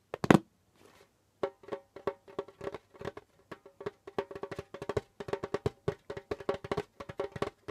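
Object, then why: Djembe drum, skin head. Flat fingers and fingertips tap and pat the pale skin head of a djembe drum. After a sharp, louder opening pair of hits and a short pause, a long run of quick, light, dry taps follows, each with a muted mid-pitched tone around 300 to 500 Hz that dies away almost at once.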